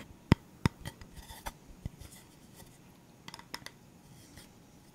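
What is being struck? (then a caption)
Round bamboo coaster. A round, flat, solid bamboo or wood coaster with a painted leaf design is held upright and tapped and scratched with the fingertips and nails. Two sharp, dull knocks come first, followed by softer taps and light scratching. A quick cluster of small taps comes near the end, over a quiet background.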